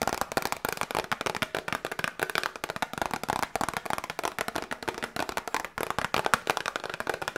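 A small, hollow, printed cardboard Grippostad medicine box is held in both hands and tapped quickly with long nails. The result is a steady, rapid stream of crisp, dry clicking taps that die away almost instantly, with a hollow papery tone centered around 1.4 kHz and almost no low end.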